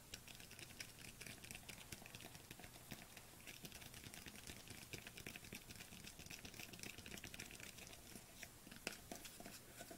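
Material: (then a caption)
Plastic. Long nails tap quickly on a small white plastic supplement tub with a white lid, held in the hands. Heard as a rapid, steady stream of crisp, bright plastic clicks that die away almost instantly, over a faint low hum.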